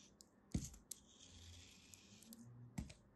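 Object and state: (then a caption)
Kinetic sand shape being cut. A green, solid kinetic sand turtle shape, held in both hands, is cut and scraped with a small black blade so slices fall away. Two soft, low thuds stand out among faint clicks and a quiet, bright, grainy scraping hiss.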